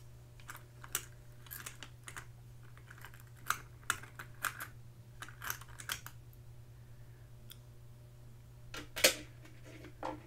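Long pink acrylic nails tap and scratch the drawer fronts of a small, hollow, vintage carved wooden jewelry box with many little drawers and its lid closed. Sharp, bright clicks and short scratchy strokes come in uneven bursts, with a louder tap near the end, over a quiet, steady low hum.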